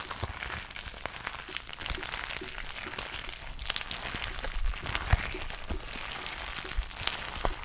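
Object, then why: Glitter-filled rubber stress ball. Long nails tap and scratch a soft, filled purple glitter rubber squishy stress ball held close to the mic. A dense, crackly texture of quick clicks and scratchy rustling, like rain on a surface, runs steadily over a low rumble, with a few sharper taps standing out.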